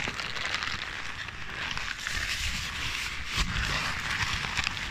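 A ball of crumpled paper is squeezed and crinkled by hand against the side of the microphone. It makes a steady, dense crackling rustle, bright and hissy on top with a low rumbling thump from the close handling. There are a few sharper crinkles, one around the middle of the clip.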